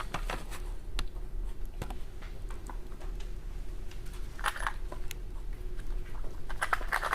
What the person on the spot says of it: As I shake it, do you hear multiple objects inside?